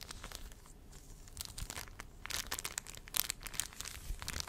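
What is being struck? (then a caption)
Clear plastic film sheet. A thin, flexible sheet of clear, slightly frosted plastic film is held in both hands and wrapped around the front of a microphone while fingertips press and rub it. It makes quiet, bright crinkling and crackling with sharp rustles that grow busier and louder in the second half.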